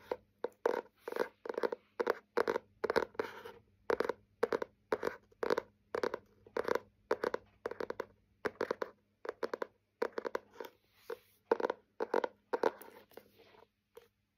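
Fingernails tap and scratch the cover of a small hardcover butterfly-print journal with a ribbon bookmark and a solid paper block. Short, dry, mid-pitched taps and scratchy bursts come in quick clusters at a steady pace, each stopping dead with no ring.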